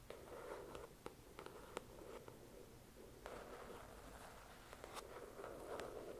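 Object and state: Paperback book.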